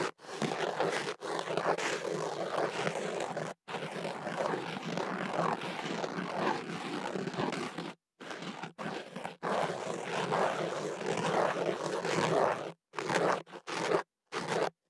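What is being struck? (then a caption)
Kenaf paper tube wrapped around a microphone. An ear pick scrapes inside a hollow white kenaf paper tube wrapped around a microphone, working at the tube's open end. The result is dense, rough scratching and rustling, full through the mids with a papery bright edge. Long scraping passages are broken by short silent gaps, with shorter strokes toward the end.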